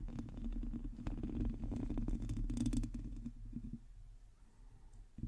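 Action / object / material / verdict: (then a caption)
scrape / metal mesh microphone grille / metal mesh / none. Long teal acrylic nails on both hands scratch the hollow metal mesh head of a large black microphone. The sound is a dense, low, rumbling scrape full of crackling grit, with a few sharp bright clicks in the middle. It then thins to a quieter rustle before one last scrape at the end.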